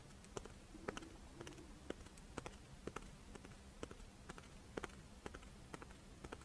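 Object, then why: Fish-shaped rice wafer monaka shell. Long fingernails tap and scratch the crisp shell of a pink, fish-shaped strawberry rice wafer monaka held in the hands. About twenty short, dry, sharp clicks sound at irregular intervals, each dying away almost at once. Between them is a soft, rustling scratch over a faint low hum.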